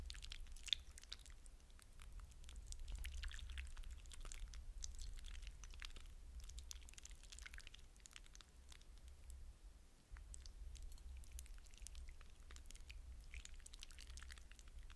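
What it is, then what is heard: Hydrogel water beads being squished. Fingertips poke and press into a glass bowl of wet blue hydrogel water beads, squishing them. Quiet, continuous wet squelches and bright crackly clicks come through over a steady low hum, with no clear break in the sound.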